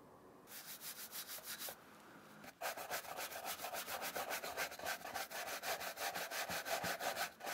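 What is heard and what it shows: A wooden-backed brush with dark bristles is rubbed over the suede and canvas upper of an empty black and white Vans slip-on shoe held in the hand. It makes quick, steady back-and-forth scrubbing strokes with a bright, scratchy hiss. After a brief quieter pause, the brushing resumes faster and louder.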